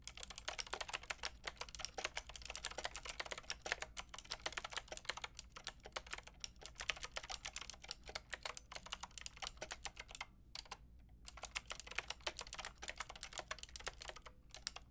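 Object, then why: Plastic mechanical keyboard with round keycaps. Long painted nails and fingertips type on a white-pink backlit mechanical keyboard with round plastic keycaps. Rapid, bright, clacky key taps each end almost instantly, with a brief pause just past the ten-second mark and another near the end.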